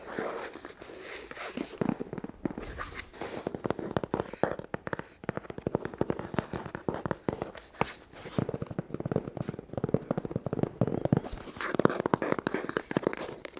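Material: Cardboard.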